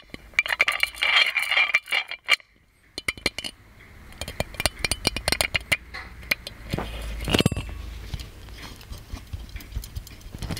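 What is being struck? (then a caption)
Metal genie lamp with embossed body. Fingertips and nails tap and scratch the embossed body of a hollow gold metal genie lamp. Bright, clicky taps with very short ring mix with rasping scratches, some dense and clustered, with a brief quiet gap near the start and a louder scraping burst in the middle.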